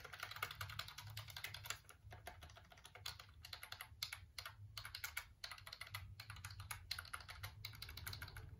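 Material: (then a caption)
Plastic. Fingertips and nails press and click the keys of a full-size, hollow black plastic computer keyboard held up close, producing a rapid, uneven stream of sharp, bright plastic clicks and taps like busy typing. Short pauses break up the clicking, and a steady low hum runs underneath throughout.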